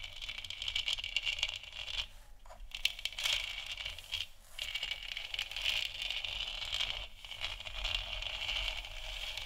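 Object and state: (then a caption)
Plastic moon lamp. Long nails tap and scratch the top of a large, hollow, textured plastic moon lamp sphere. The result is a dense, bright stream of crackly scratching and quick clicks, centered around 3 kHz, with short gaps near 2.3, 4.4 and 7.2 seconds and a faint low rumble underneath.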